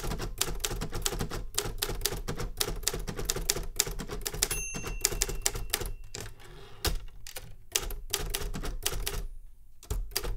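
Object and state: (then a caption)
Metal manual typewriter. Fingertips type on a metal manual Remington Super Riter typewriter with paper in the carriage, producing a rapid run of sharp, bright key clacks over a heavy low thump. The strikes come in quick bursts with brief pauses, and a faint high ringing tone briefly threads through the middle of the typing.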